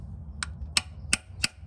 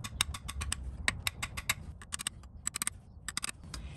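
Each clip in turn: First: Four light, crisp high ticks with almost no ring: the drift is hitting solid housing, so the seal is seated flush. Second: Quick light metallic ticks, short and bright with almost no ring, as the seal is driven in but not yet seated.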